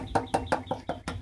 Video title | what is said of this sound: 2006 GSXR Suzuki run through | it sounds identical to the other side, so it doesn't sound like it's very thick, whatever's on there